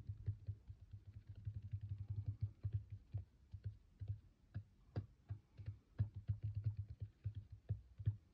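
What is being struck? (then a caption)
Small concrete block. Long acrylic nails with white tips tap and scratch the top and edges of a small, solid grey square block with rounded corners and a porous, speckled concrete-like surface, resting on a white table. Dozens of quick, soft, dull taps come in uneven bursts. They are deep and muffled, with short scratchy clicks and almost no ring.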